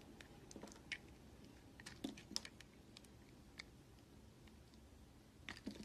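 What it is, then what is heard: Bar of soap shaved with a knife. A red utility knife shaves flakes off the edge of a solid white oval bar of soap. Quiet, crisp scraping and clicking cuts sound in an irregular series, each short and bright with almost no ring.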